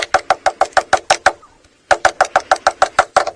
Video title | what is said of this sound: Pt 1 Safari Live's Sunrise Safari Drive at 6:30 AM on May 03, 2018 | he will be tapping on there making a very hollowed resonating sound that sort of resonates through the bush